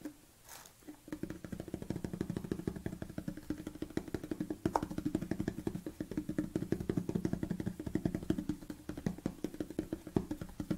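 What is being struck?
Plastic supplement tub lid.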